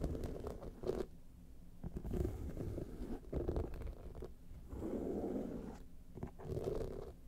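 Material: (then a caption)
Rhinestones. Long painted nails scratch across the rows of rhinestones on a small hollow clutch bag lying on its side. The result is bursts of dense, low, rumbling scratching with a gritty midrange texture, separated by brief quieter pauses.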